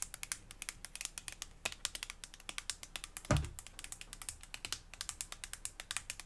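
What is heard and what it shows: Long blue fingernails tap a white, hand-sized, squeezable plastic tube of cream or lotion held close up. The result is a steady run of quick, bright, crisp clicking taps, with one louder, deeper thump partway through.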